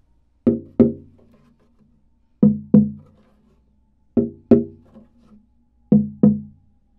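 An unstrung, hollow koa OM acoustic guitar body is tapped with a thin wooden stick, first on the back and then on the koa top. Eight short, woody knocks fall in four evenly spaced pairs. Each has a low resonant tone near 210 Hz that dies away within a fraction of a second.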